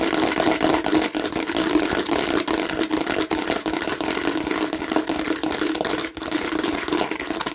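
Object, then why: Plastic watermelon-shaped bottle. A hollow plastic watermelon-shaped bottle with a seeded, bumpy surface is scratched by long nails across its front and sides. The result is a continuous dense, bright scraping noise with a hollow plastic tone and only brief dips.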